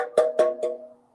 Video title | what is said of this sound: Maintaining Gutters and Downspouts- Virtual Workshop | if they sound hollow well they're clear but most of the time they're clogged up